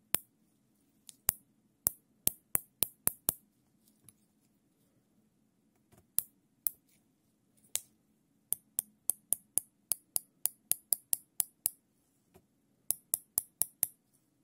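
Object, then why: Nylon plastic cable tie. Gloved fingers pull the serrated strap of a long, looped black nylon zip tie through its head, making a run of about 30 sharp, bright ratchet clicks in irregular bursts. Each click is very short and dry, with quiet gaps between the bursts over a faint steady low hum.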